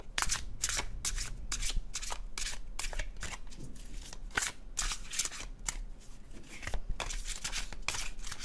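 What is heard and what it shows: An illustrated cardstock tarot deck is shuffled by fingertips, the paper cards sliding over each other. Quick, bright, papery swishes and flutters come in rapid bursts over a steady low hum.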